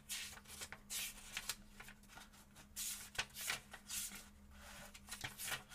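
Fingertips slowly turn the paper pages of a small paperback book held open, rubbing and flipping them while other books rest untouched on the table. Soft, bright papery swishes and rustles rise and fall in quick bursts, with short crisp flicks between them. A faint, steady low hum sits underneath throughout.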